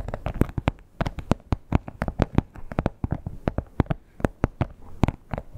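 Long pointed nails scratch and tap the textured top of a red croc-embossed leather wallet lying flat. The result is a quick, uneven run of dry, soft taps with brief scratchy rustling between them. Each tap is short and dead with no ring, weighted toward the low end with only faint bright edges.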